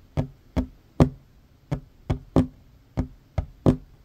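Fingertips and short nails of both hands tap quickly on a solid wooden tabletop. Nine distinct, dry knocks with a hollow woody tone around 240 Hz and almost no ring. The sound is mostly low-weighted with no bright edge.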